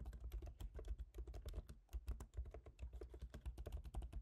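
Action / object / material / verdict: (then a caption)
tap / laptop keyboard with plastic keys on an aluminium body / plastic / none. Fingertips type on the black plastic keys of a silver MacBook Pro's aluminium laptop keyboard, producing a quiet, steady stream of rapid taps. Each keystroke is a short, soft click with a dull low thump that dies away almost instantly.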